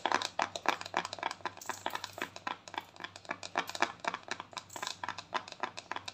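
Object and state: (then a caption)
Plastic cosmetic jar. A small round white plastic cosmetic jar is held in both hands while long thumbnails tap its lid rapidly. The result is a quick, uneven stream of short, dry plastic clicks with a bright, crisp edge, no ring, and almost no low end, played at a soft level.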